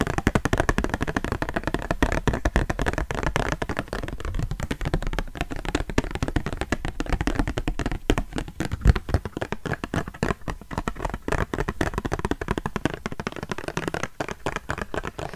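Long nails rapidly tap and scratch the surface of a small, flat plastic $10 gift card held in both hands in front of the microphone. The result is a dense, continuous stream of dry, clicky taps and scratches that stop instantly, with no ring. The sound is weighted toward low, thumpy tones, with very little bright content.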